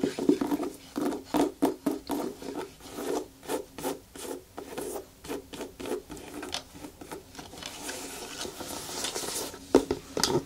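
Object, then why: Rubber boot sole. Long fingernails scratch and rub the thick treaded sole of a black rubber rain boot held in the hands, then grip its shaft. A quick series of short, dry rasping strokes gives way to a steadier, softer rubbing, with a couple of sharper scrapes near the end.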